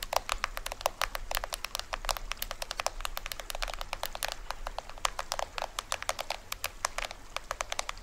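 Fingernails scratch and tap the printed plastic film drum head of a small, hollow toy drum held upright. It produces a rapid, irregular stream of crisp, dry clicks and crackly scratches that are bright and die away almost instantly. A faint low hum runs underneath.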